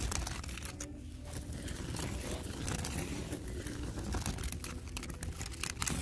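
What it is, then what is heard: Woven seagrass coil basket. Fingertips scratch and rub quickly across the woven coils and rim of a large, shallow, hollow, empty coiled seagrass basket with white and colored wrapping strips, in a store. The result is a steady, dense crinkly scratching with bright rasps over a low background rumble.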